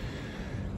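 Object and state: Nothing is struck.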